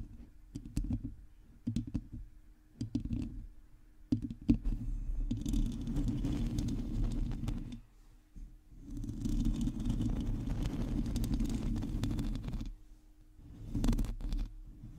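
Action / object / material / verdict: scrape / metal mesh microphone grille scratched with fingernails / metal mesh / none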